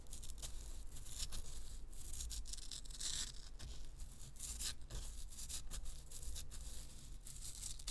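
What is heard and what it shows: Long nails scratch the crumbly, gold-coated surface of a round, solid pressed-powder bath bomb held in the hands. The result is a steady run of dry, gritty scratches with bright crackling bursts over a low rumble.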